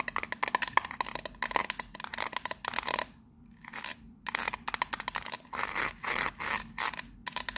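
Long nails tap and scratch rapidly across a teal ridged metal biscuit tin lid with a gold emblem. The result is a dense run of bright, clicky metallic ticks and scrapes with a faint ring near 1 kHz. A brief quieter scraping stretch sits in the middle before the quick tapping resumes.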